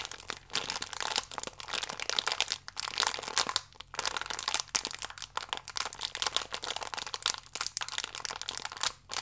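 A full, small plastic-film biscuit pack is squeezed and crinkled with fingertips and nails. It makes a dense, bright crackling and crinkling that comes in bursts with brief pauses, and each sharp crackle dies away almost instantly.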